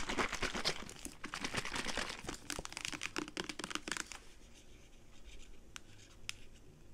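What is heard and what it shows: Long pink acrylic nails tap and scratch a medium white and blue plastic saline solution bottle, hollow and likely partly full, with a paper or plastic label, held in both hands. Dense, crinkly scratching and quick bright taps fill the first four seconds. The sound then drops to a quiet rustle broken by two sharp, isolated taps near the end.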